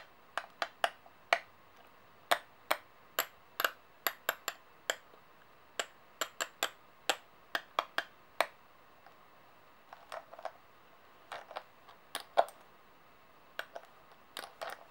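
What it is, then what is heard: Metal coins. Two large silver and gold-toned solid metal coins, held between nails and fingertips, are tapped against each other and against coins lying on a table. The result is a steady series of short, bright metallic clicks, evenly spaced at first and then in quicker, clustered bursts, each dying away almost instantly over a faint background hiss.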